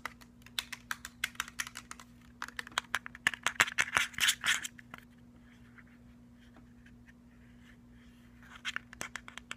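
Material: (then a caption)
Plastic, metal. Fingernails tap quickly along the metal grille and round rubber end cap of a black cylindrical JBL portable speaker with a plastic body. The result is a run of sharp, bright, irregular clicks that builds into a dense, scratchy flurry, falls quiet for a few seconds, then returns with more taps near the end. A faint steady low hum sits underneath throughout.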